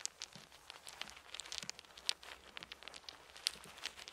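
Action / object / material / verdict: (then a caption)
shake / small round wooden beads / wood / none. Two handfuls of small, solid, round wooden beads are held in cupped palms and trickled and shaken with the fingers over a fluffy blanket, with more beads lying on the blanket. The result is a quiet, steady stream of dry, bright clicks and rattles with almost no low end, each tick dying away at once. A few sharper clacks stand out from the trickle.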